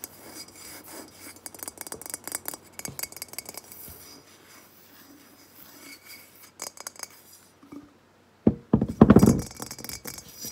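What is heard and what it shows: Long nails scratch and tap quickly across a hollow, matte, unglazed clay vase, first while it is held and then after it is set on the table. Dense, dry scratching and light ticking taps give way to a brief pause near eight seconds, followed by louder, fuller knocks and scrapes with a low hollow body.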